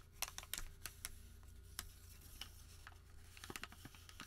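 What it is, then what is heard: Thermal paper receipt. A single long, thin white thermal paper receipt, starting as a flat sheet, is crumpled and creased by the fingertips of both hands. Sharp, bright crinkles and soft rubbing sounds come in quick, uneven bursts over a steady low hum. The overall level stays quiet.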